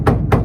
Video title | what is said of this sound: Classic car restoration | You tap on it, it's solid.